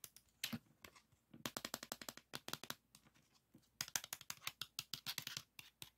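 A green 3.5-inch plastic floppy disk with a metal hub, a black shutter area and a thin hollow case is held in the hands and tapped and rubbed with the fingertips. The result is a quiet, rapid patter of about 34 dry, bright clicks and light scratches in uneven bursts, each tap dying away instantly with almost no low end.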